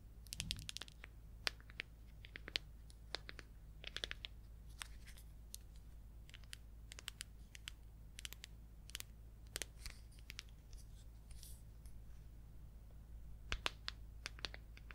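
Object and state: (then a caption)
Plastic paint jar. Long acrylic nails tap and scratch the orange screw lid and sides of a small red plastic jar of neon orange paint with a label. Quick, dry, bright clicks and scrapes come in irregular clusters with no ring, over a steady low hum.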